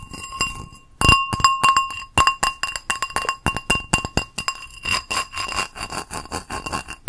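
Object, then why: Small ceramic bowl. A small, hollow, empty teal ceramic bowl with a textured geometric exterior is held up and tapped on its outer surface with long acrylic nails. Quick, bright clinks ring in an uneven rhythm, each carrying a short, steady tonal ring near 1 kHz and 2.8 kHz that fades quickly.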